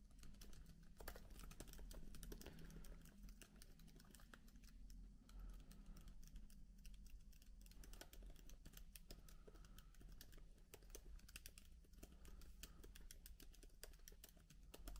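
Continuous two-handed fingertip typing on a MacBook keyboard with plastic keycaps produces a dense, quiet stream of soft, bright key clicks. A steady low hum runs underneath throughout.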